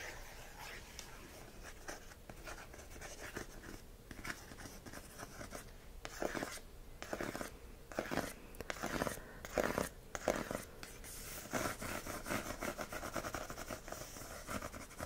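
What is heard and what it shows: Fingertips and nails scratch and tap across the front of a glossy printed cardboard slipcover on a handheld, hollow "Spaced" complete series DVD set. Soft, dry scratching runs throughout, broken by irregular bursts of quick, crisp taps that grow busier in the second half, all at a low level with almost no ring.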